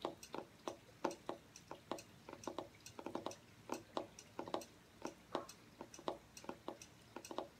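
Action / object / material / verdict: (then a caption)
tap / cardboard hardcover journal / cardboard / none. Fingernails tap the front cover of a striped hardcover journal with cardboard covers, held upright on a table. A quick, uneven run of short, dry taps with a hollow mid-range knock around 340 Hz fades almost at once, over a faint background hiss.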